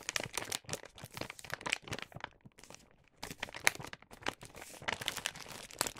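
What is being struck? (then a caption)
Paper gift bag. A filled star-print paper gift bag has its top folded closed and creased by fingertips. Dense, bright crinkling and crackling comes in quick bursts, with a short quieter stretch near the middle. The sound is mostly high, with little low end.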